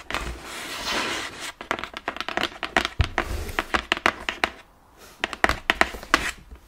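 Nails and fingertips tap the front of a large, hollow, printed cardboard Ring Fit Adventure game box. After about a second and a half of steady broadband scratching, a rapid series of short, sharp, bright clicks and dull thuds follows. The taps pause briefly near the five-second mark, then resume.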